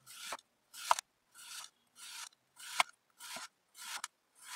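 A metal serrated knife slices a solid, molded block of red kinetic sand about a hand's length, resting on a white board, into thin slices. Eight separate gritty, rasping scrapes are heard as the blade draws through the sand, some ending in a sharp click.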